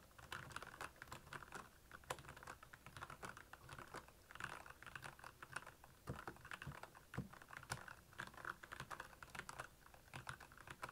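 Fingertips of both hands type fast on the keycaps of a black, backlit plastic Royal Kludge mechanical keyboard. A quiet, steady stream of short, sharp clacks with a bright edge and soft low thuds runs throughout. Each keystroke dies away almost instantly.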